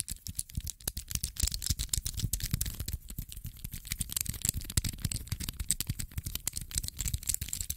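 A small, dark metallic infinity cube made of solid hinged blocks is flipped over and over with the fingertips. It gives a rapid, uneven run of short rattling clicks, each with a dull low knock beneath a bright, crisp snap that dies away almost at once.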